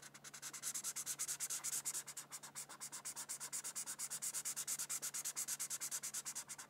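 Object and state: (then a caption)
Marker scratching on paper. A felt-tip marker scratches quick back-and-forth strokes across a thin white paper coloring sheet resting on a book, filling in red petals. The result is a quiet, steady run of about sixty short, bright, dry scratching strokes with almost no low end.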